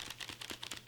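A shipping package holding a loose money item, not taped down, is shaken, and the contents rattle in a quick series of light, bright clicks. The rattle marks the package as not properly secured, in contrast to one with its contents taped down.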